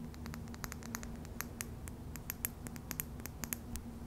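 A small, clear glass serum bottle with a yellow label and a dropper cap, hollow and partly filled, is held in the fingertips while long, dark purple nails tap and scratch its glass sides. Many quick, sharp, bright ticks and clicks sound over a soft, steady low hum. Each tick dies away almost at once.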